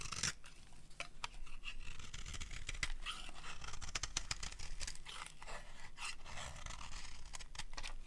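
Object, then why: Bar of soap scraped with a metal blade. A metal blade scrapes fine strands off a solid cream-colored dry soap bar. The result is a continuous series of dry, crisp scraping strokes with a bright, hissy texture over a low rumble.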